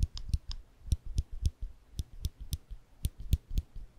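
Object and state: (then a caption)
Metal clicker. A small rectangular metal clicker with a ridged, textured body is held in the fingertips just above the microphone while the fingers press its mechanism. Thirteen short, dry clicks come in an uneven rhythm, each a soft low thump topped by a bright high tick that stops almost instantly.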